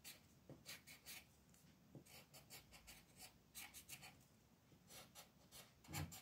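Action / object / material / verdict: scrape / wooden colored pencil on a thin paper sheet / paper / none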